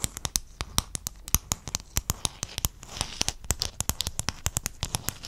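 Fingertips and nails tap and scratch across a sheet of small silver-blue hexagon mosaic tiles held close to the mic. About three dozen sharp, bright, clicky taps come in quick succession, with a softer crinkly scratching wash rising between them around the middle. Each tap dies away almost instantly.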